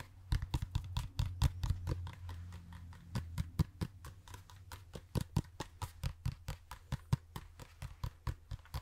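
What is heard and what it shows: A hollow toy pumpkin is tapped rapidly and unevenly with light, irregular taps. Each tap gives a short, dull, hollow knock with a deep, low body around 130 Hz and almost no ring, over a steady low hum.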